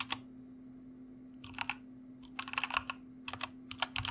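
A white mechanical computer keyboard with plastic keycaps is typed on with the fingertips of both hands. Bursts of short, bright clicky keystrokes come in irregular clusters and stop sharply with almost no ring, over a steady low hum.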